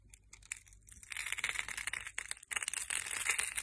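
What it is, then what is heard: Soap bar being scraped with a blade. A metal blade scrapes small cubes off the scored surface of a hand-sized, solid, translucent yellow soap bar held in the hand. The result is a dense run of crisp, bright crackling and crinkling scrapes that starts quietly and grows louder after about a second, with a brief pause near the 2.5-second mark.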